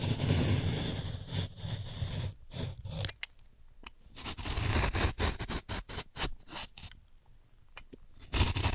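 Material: Chalk.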